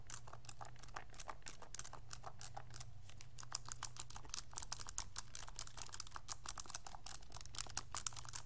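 Fingertips rapidly tap the plastic buttons of a pink, hollow, handheld plastic graphing calculator. The result is a quick, irregular stream of short, dry, bright clicks over a steady low hum.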